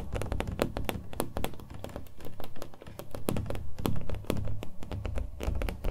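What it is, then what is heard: Painted stretched canvas. Fingernails tap the face and edges of a small, hollow-backed, acrylic-painted stretched canvas held in the hands. The taps come in a quick, irregular stream of short, dull thumps with a low, hollow body and brief bright clicks on top. Each one dies away almost at once.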